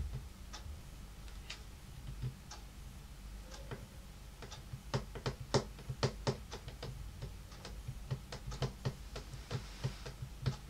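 Fingertips and long painted nails of two hands tap on a large, solid, dark brown wood-grain tabletop, possibly laminate. Short, dry taps with a low thud and a bright clicky edge come irregularly, sparse and soft at first, then quicker and louder from about the middle of the clip, over a faint steady hiss.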